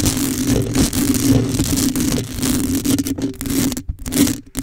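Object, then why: Metal mesh microphone grille. Long acrylic nails scratch across the top of the metal mesh grille on a black condenser microphone. The result is a dense, continuous rasping scrape with a steady low hum underneath, briefly dipping toward the end.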